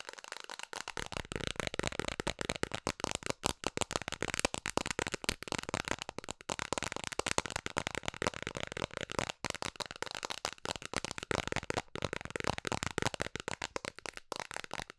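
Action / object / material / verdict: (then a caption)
tap / plastic container lid / plastic / none. Long nails tap fast on a round, hollow, hand-sized blue plastic container lid with a ridged rim, held in both hands. The result is a dense, continuous stream of crisp, clicky plastic taps with bright highs, little low end, and no ring after each tap.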